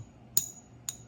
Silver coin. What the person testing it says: silver has that certain ring to it. You know, it's got that ping